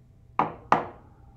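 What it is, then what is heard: Shale specimen, dull thud. A hand specimen of shale is tapped twice against a table, giving two short, dull thuds with a quick decay. The sound is a thud rather than a ring, because the shale's grains are less densely packed and resonate less than slate.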